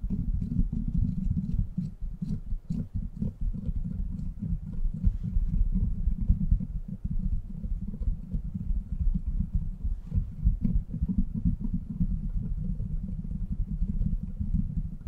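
Fingertips scratch the steel mesh grille of a silver microphone with a metal body, then both hands cup and rub its sides. The result is a steady, dense, muffled rumble of scratching and rubbing, almost all of it deep and low, with quick soft crackles and no ringing.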